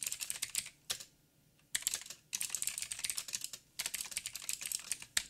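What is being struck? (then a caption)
Mechanical keyboard with plastic keycaps. Fingertips of both hands type on a backlit mechanical keyboard with black plastic keycaps on a silver frame and a hollow housing. Rapid, bright, dry clicks and clacks come in bursts separated by brief pauses, with almost no low end and no ring after each tap.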